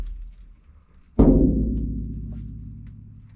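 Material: Sheet steel.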